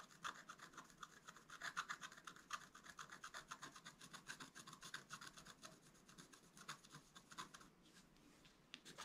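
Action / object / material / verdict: scrape / wax-coated scratch-art paper card scratched with a wooden stylus / waxed paper / none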